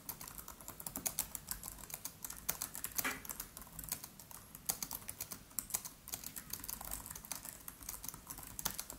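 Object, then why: Aluminium laptop keyboard with plastic keys. Fingertips of both hands type rapid taps on the black plastic keys of a MacBook Pro laptop with an aluminium body. A steady stream of short, bright clicks with almost no ring runs throughout, with occasional louder key presses over a soft low rumble.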